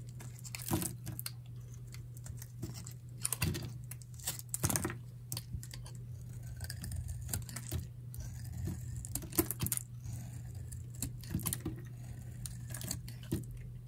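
A solid, dry pink-white bar of soap is held in hand and cut with a metal utility knife blade into crumbly chips. Quick, dry scraping and crunching clicks come in an irregular stream over a steady low hum, with a few sharper, brighter snaps standing out.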